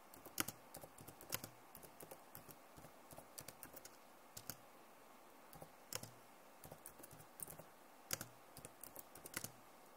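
Long nails tap the keys of a backlit plastic laptop keyboard, with the hands near the edges. About two dozen quiet, dry, bright clicks come in an irregular rhythm, each one stopping almost at once with no ring.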